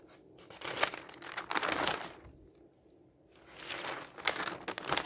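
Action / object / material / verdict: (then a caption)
scrape / newsprint paper newspaper / paper / none. Fingers slide over and turn the thin pages of an open newsprint newspaper lying on a table, rubbing and crinkling the paper. Bright, papery rustles and crackles come in uneven bursts, with a quieter pause in the middle before the crinkling picks up again.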